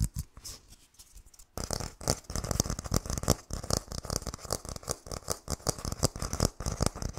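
Fingernails scratch and tap on a whole brown hairy coconut with a hard fibrous, fist-sized shell. A few soft, sparse taps lead into a sudden burst of dense, rapid, irregular tapping and scratching. It produces short, dry clicks with a low knock and a bright, crisp edge.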